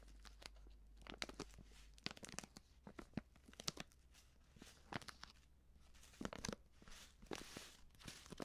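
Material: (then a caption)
Plastic. A medium, filled white Prix Garantie plastic seasoning bag is crinkled and folded at its top edge by fingers. The result is quiet, irregular crackling and sharp crisp snaps that spread from low to bright high tones, with a steady low hum underneath.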